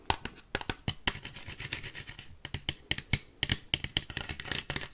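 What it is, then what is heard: Paper plate tapped and scratched with paperclips. A thin, empty, white printed disposable paper plate is tapped and scratched quickly with metal paperclips worn on the fingertips. Sharp, bright clicks come in a fast, uneven run with dry scratching between them. Each tap stops almost instantly, with no ring.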